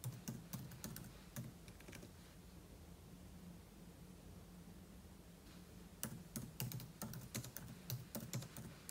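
Fingertips type on the plastic keys of a silver aluminum laptop keyboard, with an open book lying untouched beside it. Fast, irregular clicky taps with a low thud and bright clatter come in two bursts: one in the first two seconds, then a quiet pause, then a second burst over the last three seconds.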